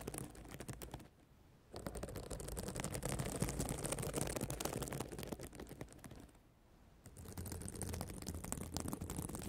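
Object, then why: Plastic sequin notebook cover. Long nails and fingertips scratch and flip the flat plastic sequins on a reversible sequin notebook cover of a spiral notebook. The result is a dense, rapid run of crisp clicking and rasping scratches, with a low undertone. The sound breaks off twice into brief near-silent pauses before resuming.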